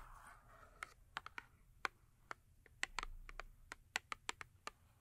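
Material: Cardboard.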